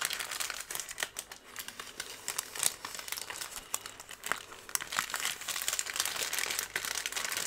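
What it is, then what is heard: Crumpled kraft paper strip. A thin, light twisted strip of brown kraft paper is crumpled, bent and rubbed with both hands and fingertips close to the microphone. The result is a dense, continuous stream of sharp, bright crinkles and crackles with almost no low end, rising and falling in intensity throughout.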